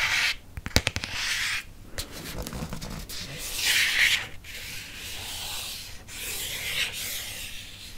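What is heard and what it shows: Fingernails rub and scratch across the cover and spine of a red hardcover paper book. Bright, hissy scraping strokes come in waves, with a quick flurry of sharp little ticks near the start, over a faint low background.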